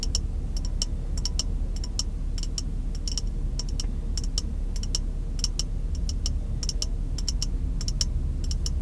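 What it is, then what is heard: Glass jar. A small, empty, clear glass jar, held close to the face inside a car, is tapped rapidly with white-gloved fingertips of the other hand. Quick bursts of short, bright clicks with almost no ring-out repeat throughout. Beneath them runs a steady low rumble and hum.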